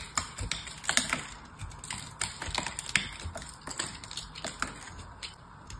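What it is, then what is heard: Foil-wrapped dry soap bar being cut. A small knife blade held in one hand scrapes and cuts into a small, solid, oval dry soap bar wrapped in aluminium foil and held in the other hand. The result is a quick, irregular run of crisp, bright cracks and crumbling crackles with short scraping rustles between them.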